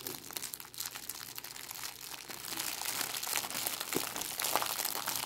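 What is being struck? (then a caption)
Thin clear plastic cellophane bag. A thin, clear plastic cellophane bag is scrunched and crinkled by fingers with long acrylic nails. The result is a dense, continuous bright crackling with many quick crisp snaps that grows slightly louder toward the end.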